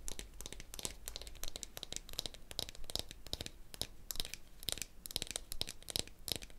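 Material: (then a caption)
Gourd, wood. A medium hollow dried gourd shaker with a handle, covered in a string net of small wooden beads, is held close to the mic while painted fingernails rub and flick the beads. The result is a dense run of quick, dry, bright clicks and crinkly rattles over a soft low rumble, each tick dying away almost instantly.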